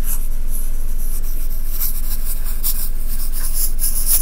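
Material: Sand.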